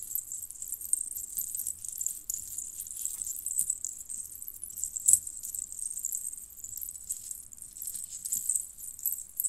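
Fingers with long painted nails squeeze and rub bunched strands of small, hollow, colored metal jingle bells on a red cord. The result is a steady, soft, bright jangle of tiny rattling chimes that stays almost entirely in the high range, with one sharper, louder jingle about halfway through.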